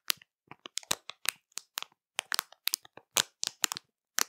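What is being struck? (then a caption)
Plastic candy bag. Long matte nails scratch and squeeze the crinkly surface of a full, colorful printed plastic candy bag. The result is a quick series of sharp, dry crackles and crinkles, bright with almost no low end, each snapping off instantly with no ring.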